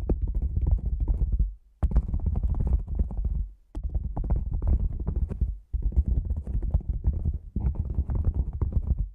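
A hollow, black padded nylon fabric lens pouch set over the microphone is tapped rapidly on top with fingertips and nails. The result is a deep, muffled, boomy drumming, almost all low end with no brightness. It comes in quick flurries separated by brief pauses.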